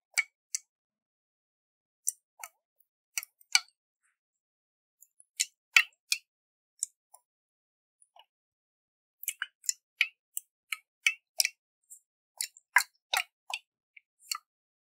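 Fingernails tap on a round, hollow glass jar with a metal lid and water inside, held and tilted in the hands. About 23 quiet, bright clicks come in irregular bursts with pauses between them. Each tap is sharp and dies away almost at once.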